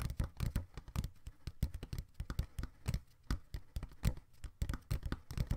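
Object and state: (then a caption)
Cardboard box. Fingertips tap and scratch the side walls of a small, empty, open brown corrugated cardboard box held in both hands on a table. The result is a rapid, uneven run of soft, dull thumps with brief, bright scratchy edges. Each one dies away almost instantly, and most of the energy sits in a low hollow body.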